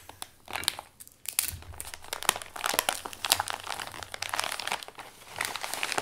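Both hands fold, press and crinkle a partly crumpled Amazon brown kraft paper padded mailer with the fingertips. Dense, bright crackling and sharp papery snaps run almost continuously, with a brief quieter pause near the first second. Each crackle stops instantly with no ring.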